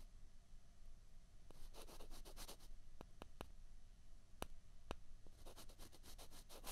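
Two small, hollow, white plastic ping pong balls are rubbed and scraped against each other between the fingers. Quiet bursts of bright, scratchy rubbing alternate with a few sharp, short clicks over a faint low rumble.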